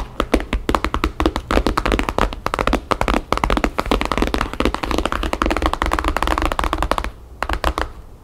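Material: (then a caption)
Paper, board. Long painted fingernails of both hands tap fast on the cover of a thick, map-printed, paper-covered hardcover album lying flat and solid on a table. The result is a dense stream of short, dull, papery taps with a low, woody body and almost no ring. Near the end, the taps thin out into a few sparser, softer ones.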